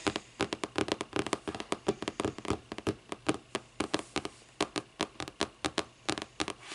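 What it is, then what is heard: Hardcover book. Long nails tap rapidly on the front of a closed, thick hardcover paper book with a lime-green board cover. The result is a fast, uneven run of short, dry, crisp clicks with almost no ring, set over a faint noisy hiss.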